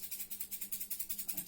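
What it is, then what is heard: Plastic egg filled with rice. A plastic egg filled with rice is shaken steadily, giving a quick run of about thirteen soft, bright rattling shakes. The rice makes a hissy, maraca-like swish that is mostly high frequency.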